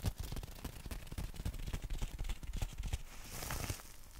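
Fingertips tap rapidly on the fabric of a folded black nylon umbrella held horizontally over the microphone, making a steady stream of soft, dull, low thumps with a faint papery crackle. Near the end, a brief brighter rustle rises over the tapping.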